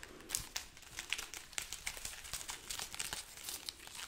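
A strand of a dried red chili pepper garland is held up while its pods are scratched and squeezed with long nails and fingertips. The result is a quiet, dry, brittle crinkling and crackling, made of quick bright snaps and rustles with almost no low end, each dying away almost instantly.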